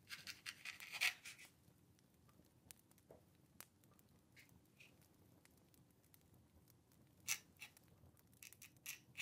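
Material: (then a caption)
Paper. A dip pen or quill scratches across a small, thin, flat paper card or letter resting on a wooden table while writing. Bursts of dry, bright scratching cluster at the start and end, separated by a quieter stretch of scattered light ticks and strokes over a faint low hiss.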